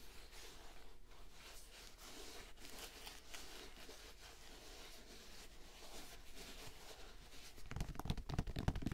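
Fingers scratch and rub the knit fabric upper of an empty gray and cream Nike-style sneaker with synthetic straps, held up close. Soft, dry scratching and rustling sit over a steady low hum. Near the end the scratching turns louder and faster.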